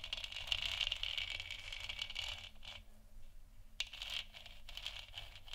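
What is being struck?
Plastic moon lamp sphere.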